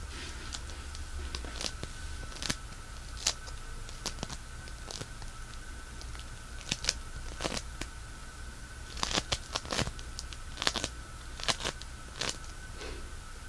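A small handheld lump of pink play foam, made of tiny polystyrene beads in a sticky binder, is squeezed, pulled and crunched between the fingertips of both hands. It gives quick, bright crackles and sticky pops, some in dense bursts, over a steady low hum and a faint constant tone.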